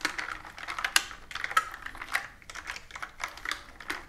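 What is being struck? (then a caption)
Plastic computer keyboard with round keys. Fingertips and long nails type on a plastic computer keyboard with round plastic keys resting on a table. The result is a quick, irregular stream of dry, bright clicks and taps, each stopping almost at once, with a few sharper, louder keystrokes and almost no low end.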